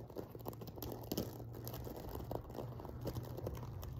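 Fingernails scratch and brush across the sequins of a silver sequin-covered fabric pillow. The result is a quiet, continuous crinkling and crunching patter made of many small, dry clicks. A steady low hum sits underneath.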